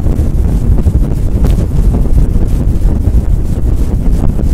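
Long nails scratch and rub fast and hard over a fluffy faux fur windscreen on a microphone. The result is a loud, continuous, dense rumbling scrape that stays almost entirely in the low end, with no clear gaps between strokes.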